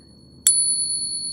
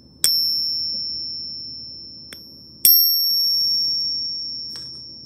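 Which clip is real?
The first.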